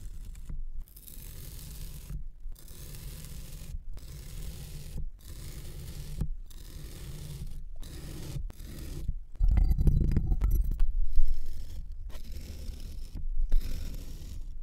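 A long, thin metal knife blade slices in parallel lines through solid purple kinetic sand packed flat in a round metal tin. Each soft, gritty scraping stroke is separated by a brief silence, and the strokes carry a low, muffled rumble. One louder, rougher stretch of scraping comes near the middle.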